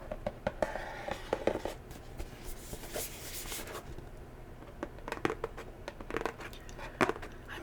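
Natural fingernails tap a cardboard box in quick, uneven runs of short, dry clicks that die away almost instantly. A soft crinkling wash rises in the middle, and the clicks sit over a low, steady background.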